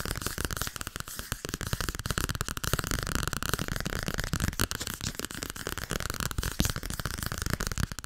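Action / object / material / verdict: tap / softcover paper book / paper / none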